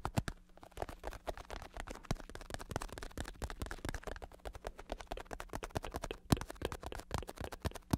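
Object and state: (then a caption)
Vinyl-covered bicycle saddle. Fingertips and nails rapidly tap and scratch the vinyl/synthetic leather cover of a black padded bicycle saddle with red trim, held in the hand; the cover sits over foam and a hard plastic shell with a hollow underside. The result is a dense, continuous stream of short, dull, low-heavy taps with quick decay, plus a faint steady low hum underneath.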